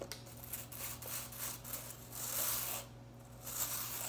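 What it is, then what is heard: Plastic broom bristles. Long nails scratch across, and fingers run through, the bristle ends of a handheld broom head with blue plastic bristles. It makes a bright, scratchy rustle in uneven strokes, swelling to its loudest brush midway before a brief hush and a final flurry. A faint steady low hum sits underneath.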